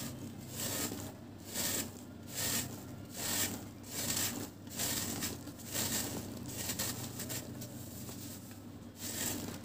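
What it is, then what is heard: Dry cement cake being scraped. A round, flat, solid dry cement cake is held in one hand over a tub of cement powder while a metal blade from a yellow-handled box cutter shaves and scrapes its edge. Gritty, bright scraping strokes repeat at a steady, fairly slow pace, each rising and fading with a dry, crumbly rasp over a faint low hum.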